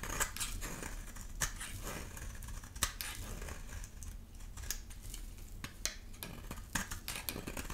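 A solid, dry yellow bar of soap held in the hand is shaved into curls with a utility knife blade. Crisp, bright scraping and cutting strokes come in quick, irregular bursts over a steady low rumble, each stroke ending abruptly with no ring.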